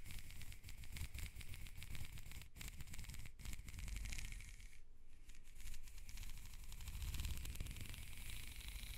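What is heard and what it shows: A black, ribbed, hollow plastic corrugated hose is held upright while fingers and long nails scratch and slide along its ribs. The result is a dense, rapid rattling scrape of tiny clicks with a strong low rumble and a bright crackly edge. It holds a steady level, with brief gaps near 2.5 and 3.3 seconds and a softer stretch around 5 seconds.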